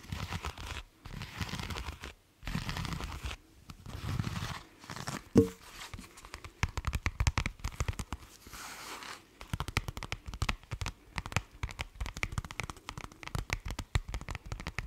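A black leather wallet is held close to the microphone while fingernails scratch and tap its leather and the wallet is handled open. Soft rustling and scratching bursts give way to a long run of quick, crisp taps and crinkles.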